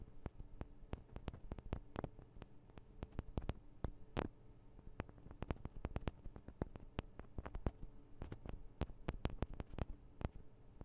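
Long acrylic nails on both hands tap the small hollow metal microphone capsules of a Tascam DR-40 recorder. Dozens of quick, irregular taps come through as dry, bass-heavy thumps and clicks with no ring, some sharper with a bright edge. A faint steady low hum sits underneath throughout.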